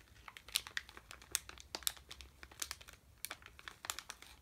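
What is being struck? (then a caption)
Plastic candy bag. A sealed red plastic M&M's candy bag, full of candy, is held in both hands, crinkled with the fingertips and turned over. The result is a quiet, steady run of bright, sharp crinkles and crackles, each snapping off almost instantly, with very little low end.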